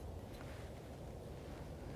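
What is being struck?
Nothing is struck.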